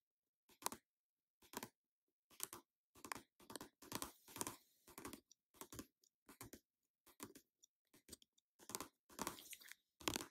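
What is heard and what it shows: An orange plastic cosmetic squeeze tube of face mask, held in the hand, is tapped and scratched with long nails. The result is a string of short, dry, bright bursts of clicking and scraping separated by brief silences, with no lingering ring.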